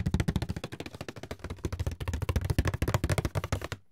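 A medium, hollow, closed white paperboard box is turned in the hands while fingertips and nails tap and scratch its sides and lid. The result is a rapid, uneven run of dull, hollow thumps with deep low body and short dry decay, mixed with light scratchy texture. It stops abruptly just before the end.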